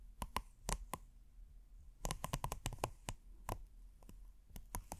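A thin, flat, hexagonal red silicone trivet with a textured dotted surface is held up in one hand and scratched slowly with the fingernails of the other. The scratches come as short, bright, clicky ticks in irregular clusters with brief gaps between them, over a faint low hum.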